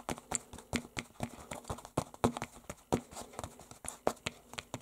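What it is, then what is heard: Painted canvas book cover, tapped and scratched. Fingertips wearing silver rings tap and scratch an unfolded red canvas cover painted with a dragon, lying flat over a book. Around twenty quick, dry taps land in an uneven rhythm, each a short bright click with almost no ring, mixed with soft fabric scratching between them.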